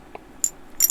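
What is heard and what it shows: A metal shaking-siphon head, costing about 40 baht and made of copper, aluminium or stainless steel (uncertain which), is shaken so the loose glass ball inside moves up and down. This produces two short, bright, high clinking rattles with almost no low end, the second longer and busier than the first. The rattle is the normal sound of the ball moving inside the valve head.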